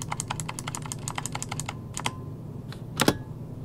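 Fingertips type rapid key presses on an RGB-lit plastic mechanical computer keyboard with hollow key switches, resting on a desk. A quick run of short, bright clicks fills the first second and a half, followed by a brief pause, a couple of isolated presses, and a louder double clack near the end, all over a steady low background hum.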